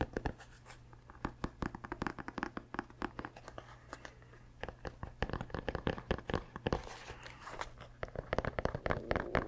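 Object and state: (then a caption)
Rubber sneaker sole. A running shoe is held upright while fingertips scratch its grey rubber heel and sole close to the microphone. The result is a fast run of short, dry scratching and scuffing taps over a steady low hum, with a rougher, denser stretch of scratching near the end.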